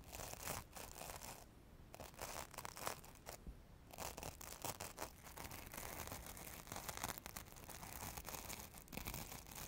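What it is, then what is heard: Glitter-coated foam carrot. Long nails scratch and rub along the orange glitter coating of a solid foam craft carrot held upright in both hands beside the microphone. The result is a dense, crackly, bright scratching texture with brief quieter pauses near the start before it continues steadily to the end.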